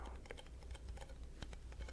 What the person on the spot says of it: getting this sort of metallic sound